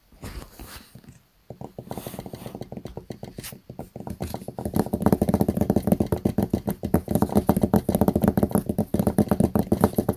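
A small notebook with a blue hard cover lies flat on a desk while both hands tap the cover quickly with fingertips and nails. The result is a dense run of short, dry, low-pitched clicks and thuds that starts sparse and grows faster and louder over the clip.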